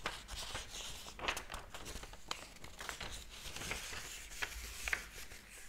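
Thin paper pages of a large, thick hardcover book lying open on a table are lifted by fingertips and flipped while the other hand holds the book open. Bright, crisp rustling and crinkling runs throughout, broken by short sharp flicks and soft slaps as each page falls.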